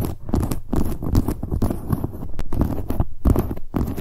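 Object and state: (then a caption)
Leather handbag tapped and scratched with nails. Long nails rapidly tap and scratch the front of a medium, hollow black leather handbag near its handle rings. The dense stream of soft, dull taps is mostly low and boomy with light scratchy texture, and each tap dies away almost instantly.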